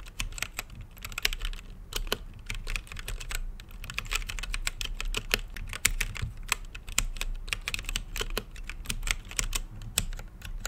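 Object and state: Mechanical keyboard with plastic keycaps.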